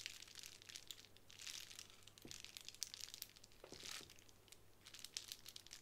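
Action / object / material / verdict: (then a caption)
scrape / plastic bubble wrap / plastic / none. Long nails scratch and press the bubbles on a small sheet of plastic bubble wrap lying flat on a wooden table. The result is a quiet, dense stream of bright, crinkly scratching and crackling with a few soft, dull presses. A faint steady low hum sits underneath.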